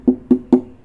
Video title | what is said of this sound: Making a $300 guitar sound like $1000 (Cort earth 100)🤣🤣🤣 | there's more like variation to the sound of it. So like there's bass